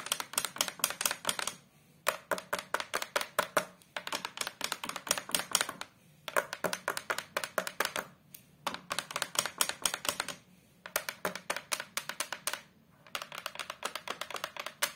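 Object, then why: Hardboard photo frame backing. Long, colourful acrylic nails tap and scratch the thin, rigid, flat brown fibreboard back panel of a large photo frame lying face down. The result is rapid, bright, dry clicking in quick bursts, each separated by a brief pause. Every tap dies away almost instantly.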